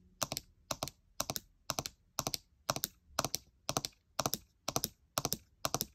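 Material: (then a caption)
Plastic. Long nails tap quickly on the plastic keys on the right side of a gold MacBook Air keyboard. Twelve evenly spaced bursts are heard, each made of two or three sharp, bright clicks that die away almost at once.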